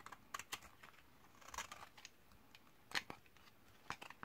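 A metal utility-knife blade scrapes across a thinned, solid white bar of 72% laundry soap from 2012, dried for 8 years and held in the hand, building up powdery shavings. The clip is a series of short, dry, crisp scraping ticks, bright and quick with almost no ring, separated by quiet gaps.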